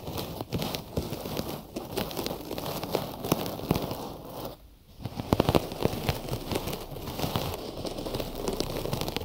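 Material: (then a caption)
Cotton gauze. Fingertips quickly tap and scratch on a cotton gauze bandage wrapped around the ears of a binaural microphone. The result is a dense, dry crackling and crinkling texture with short fabric scratches, mostly low and mid in tone. There is a brief lull near the middle before the tapping resumes with a few louder taps.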